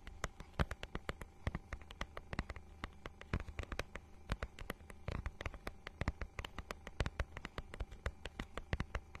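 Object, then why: Plastic book cover with a scale-textured surface. A notebook-sized book with a holographic, scale-textured plastic cover is held up close and scratched and tapped with long nails. The result is a fast, irregular stream of sharp, bright clicks and taps over a low, steady hum.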